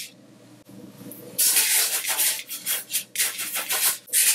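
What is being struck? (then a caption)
Coarse sugar crystals rubbed by hand. Colored sanding sugar crystals are spread on a white surface as a flat palm rubs and presses into the layer and fingers lift and scatter the granules. After a quiet, faintly humming start, dry, bright, hissy granular rubbing sets in, rising and falling in swells of scratchy friction.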